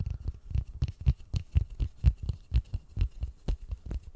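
Gloved fingertips and palms tap and rub a large white polystyrene foam ball cupped close to the mic. Each tap lands as a soft, dull, low thump that dies away almost at once. The taps come in a quick, uneven run of about two per second, with a faint brushing rub between them.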